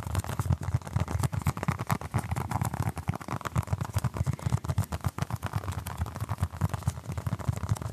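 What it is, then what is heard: Foam stress ball. Fingertips and short nails scratch and tap a small, orange, basketball-patterned stress ball of apparently solid soft foam, held in one hand. The result is a steady, rapid stream of soft, dull thumps and scratchy brushes lasting about eight seconds. The sound is mostly low, with a faint hiss above, and each tap dies away almost instantly.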